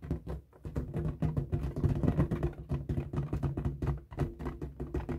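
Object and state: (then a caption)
Latex balloon being rubbed. Fingertips and nails rub and scratch the taut rubber surface of a light blue, inflated, hollow, air-filled latex balloon held in both hands. This makes a steady run of dull, boomy rubbing thumps and squeaky drags. The sound is mostly low, with a humming resonance and very little brightness, and each stroke dies away almost at once.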